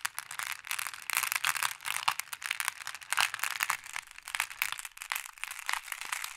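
Fingertips with long nails dig into a wooden tray full of small, solid, flat glass pebbles and stir the pile. The result is a dense, continuous stream of bright clicking and clacking as the pebbles knock against each other, with no low-end weight.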